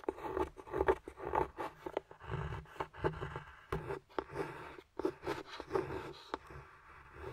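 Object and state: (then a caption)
Dark chocolate bar being scraped. A metal carving tool scrapes curls off the surface of a flat, solid dark chocolate bar. It makes a run of short, irregular scraping and crunching strokes with a dry midrange rasp and some low rumble underneath.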